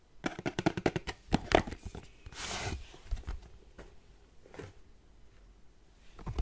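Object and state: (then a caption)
Cardboard box. Painted nails tap the face and top of a white printed cardboard charger box held in both hands, giving a quick run of dry, sharp taps with no ring. A brief broad, hissy scratch follows, then a few scattered softer taps.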